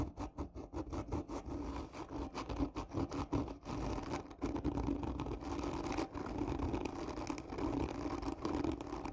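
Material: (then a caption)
Cardboard. Long nails scratch slowly and hard across a hollow black textured cardboard gift tube, seen from its end. The result is a continuous run of rough, rasping scrapes with a hollow, boxy resonance in the low mids. The strokes pulse and swell unevenly throughout.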